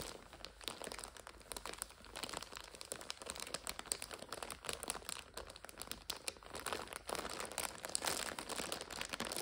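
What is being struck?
Plastic wrapper of an instant-noodle multipack.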